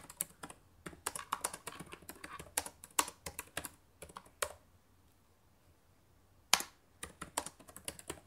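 Both hands type with fingertips and long painted nails on the plastic chiclet keys of a black laptop keyboard. Bursts of quick, bright, dry clicks stop short with no ring, then give way to a quiet pause of about two seconds before one sharp tap restarts the typing.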